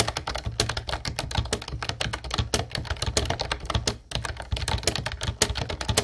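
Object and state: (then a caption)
Plastic typewriter-style keyboard being typed on. Both hands type rapidly with their fingertips on a mint-blue plastic Ubotie retro typewriter-style keyboard with round white plastic keycaps, resting on a wooden desk. A dense, steady stream of sharp, clicky keystrokes carries a low thump under bright, high clacks. The typing pauses briefly around the four-second mark, then resumes at the same pace.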